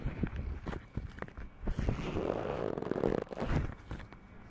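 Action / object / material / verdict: scrape / metal desk microphone rubbed with rubber gloves / metal, rubber / none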